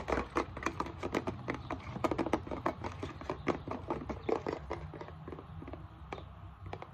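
Long nails tap and scratch the back label and barcode area of a plastic isopropyl alcohol bottle tilted on its side. The result is a fast, irregular run of short, dry, clicky taps mixed with soft scratchy rustling over a steady low hum. The taps are densest early on and grow slightly quieter and sparser toward the end.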